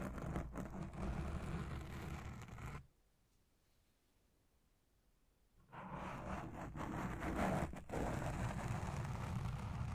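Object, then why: Foam microphone windscreen. Long red nails and fingertips slowly scratch and lightly touch a black foam windscreen dome on a Blue Yeti Pro microphone. The result is a dense, boomy, low rustling scrape. It drops to near silence for about three seconds midway, then resumes just as heavily.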